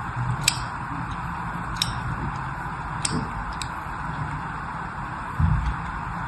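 A hand-sized, solid rectangular bar of pink-and-white striped soap is held in one hand and scratched and scored along its surface with a thin metal pick held in the other. Four short, bright ticks stand out above a steady low hiss and rumble, and a brief low thump comes near the end.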